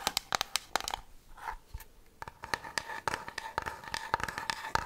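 Long fingernails tap and scratch a medium-sized, white-translucent plastic nail polish remover bottle with a lilac cap and liquid inside. A quick run of sharp, dry taps with a faint hollow ring near 800 Hz mixes with bright scratching, with a short quieter stretch of scraping in the middle.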